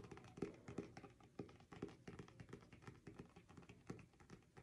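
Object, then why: Paperback book, glossy card cover. Quick, dull fingernail taps and light scratches on a paperback's glossy card cover, each dying almost instantly.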